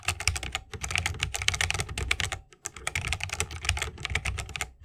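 A 60% mechanical keyboard with a bamboo case, plastic keycaps and Holy Panda switches is typed on continuously with the fingertips of both hands. Rapid, dry keystrokes combine a bright, clacky top with a low, rounded thock, each dying away almost instantly. The typing pauses briefly midway before carrying on.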